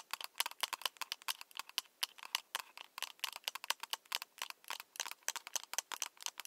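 Long nails and fingertips of one hand tap along the long, hollow, translucent plastic tube of a lit, battery-powered LED light stick (glow/penlight stick) with a wrist strap, held in the other hand. About three dozen quick, dry taps sound bright and clicky, with no low end. Each tap dies away almost instantly, centred around 3 kHz.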